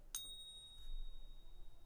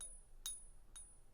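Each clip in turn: First: genuine silver coin, clear ring. Second: fake silver coin, dull ping.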